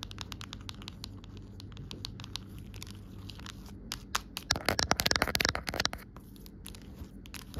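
Long nails tap and scratch along the back and raised edge of an empty, amber-tinted clear plastic phone case. Quick, dry, bright clicks and scrapes patter unevenly over a faint low hum, building to a louder, denser flurry of scratching around the middle before easing back to lighter tapping.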